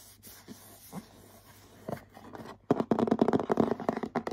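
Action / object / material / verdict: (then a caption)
scrape / printed cardboard box / cardboard / none. Both hands scratch the glossy front of a medium-sized printed cardboard bath set box, likely full, with short nails and fingertips. A few faint, soft scrapes come first, then a quick run of louder, dry, papery scratches with a low-mid, muffled tone and no ring.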